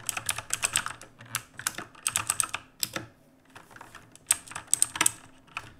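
Fingertips type rapidly on a black full-size mechanical keyboard with plastic keycaps, resting on a wooden desk. Quick bursts of sharp, bright clicks and clacks come in uneven runs with short pauses between them. Each keystroke stops almost instantly, with little low end.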